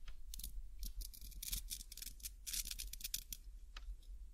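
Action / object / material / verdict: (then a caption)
scrape / nylon hook-and-loop strap / nylon / none. A small, thin, flat green nylon hook-and-loop cable tie is held in both hands while fingertips and nails press the hook side against the loop side and peel it apart. This makes a series of short, bright ripping and scratching bursts over a steady low hum.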